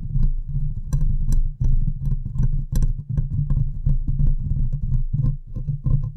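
Long nails and fingertips from both hands scratch and tap the hollow metal mesh grille of a large USB microphone, close to the capsule. The result is a dense, uneven stream of low, boomy thumps and rumbling scrapes, with occasional sharper, brighter ticks standing out above the continuous low-end rumble.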